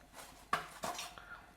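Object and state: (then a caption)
Crispy fried onion bhaji. Freshly fried onion bhajis in gram flour batter, lifted from the oil, are shaken or tapped in a metal strainer to drain. Three short, crisp clattering hits ring out, the first sharpest, and the bhajis sound crispy.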